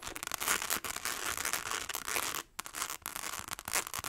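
A small, hollow rectangular clutch purse covered in tiny rhinestones is held in both hands and scratched fast with long acrylic nails. The result is a dense, bright, crackling scratch with almost no low end, broken by brief pauses near 0.8, 2.5 and 3 seconds.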